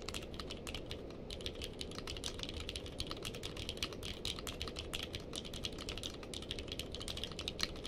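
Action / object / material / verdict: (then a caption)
tap / mechanical keyboard with plastic keycaps / plastic / none. Two-handed fingertip typing on a purple-case mechanical keyboard with white and purple plastic keycaps. It produces a fast, steady stream of short, bright clacks with very little ring over a constant low background rumble, and the typing continues evenly throughout.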